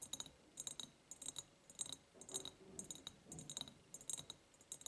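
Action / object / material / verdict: tap / ribbed glass jar / glass / none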